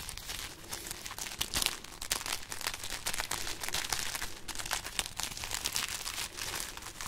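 Long painted nails scratch and crinkle a string of hollow, brittle dried red chili peppers held up high. The result is a continuous run of dry, bright crackling and rustling with quick, sharp snaps that barely ring.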